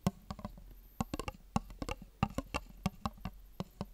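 A small, empty clear plastic tub is tapped with long fingernails while held, then set on the table as the nails tap its rim. About seventeen short, dry clicks land at an irregular pace, each with a hollow low thump and a quick bright tick that dies away almost instantly.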